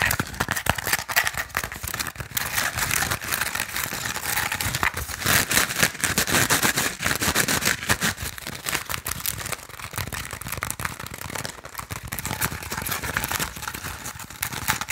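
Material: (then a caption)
Bamboo. Fingernails scratch and tap quickly along the weave of a small, hollow, woven bamboo sticky rice basket. The result is a dense, continuous stream of dry, crackly scrapes and clicks with a bright, rattly texture and little low end.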